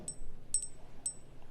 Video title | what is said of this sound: JewelleryMaker Live | It sounds like metal, doesn't it?